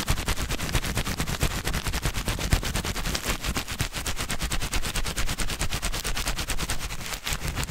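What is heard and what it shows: A sheet of white paper held in both hands is crumpled and crinkled with the fingers, giving a steady run of rapid, dense crackles across the full range with a heavy low rumble beneath. Each snap is sharp and stops almost at once, keeping the texture busy and even throughout.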